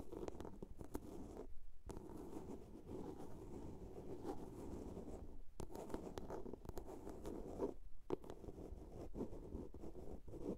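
A small hollow blue plastic soap case held in both hands is scratched along its sides with long nails. The result is a steady, dull, low scraping rasp with brief pauses and occasional sharp ticks.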